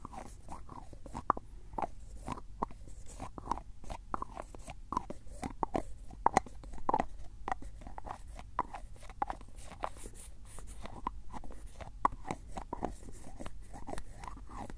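A white plastic screw-cap jar is held in the hand while the fingers twist its lid open and closed. The result is a steady run of short, dry, crunchy clicks and scrapes with a mid-range tone around 780 Hz, over a faint low hum.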